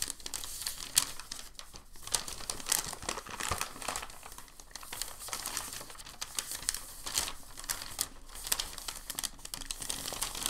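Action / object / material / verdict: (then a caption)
scrape / thin paper packing sheet / paper / none. A large, thin, crinkled sheet of white packing paper is folded over and flattened by hand on a table. It gives a steady, dense crinkling of bright, high crackles and soft rustles. Sharper snaps poke out now and then, and none of them ring on.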